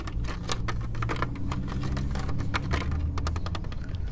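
Fingertips and nails tap and scratch around the center emblem and lug nut caps of a silver plastic wheel cover on a car wheel. The result is a steady run of quick, dry, clicky taps with bright scratchy edges over a constant low hum.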